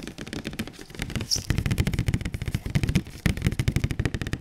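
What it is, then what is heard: Cardboard box. A large printed cardboard PS4 Pro box, held upright, is tapped on its front face with the fingertips and palms of one gloved and one bare hand. Rapid, continuous streams of dull, low thumps with short papery clicks on top die away almost instantly, with a few harder slaps standing out.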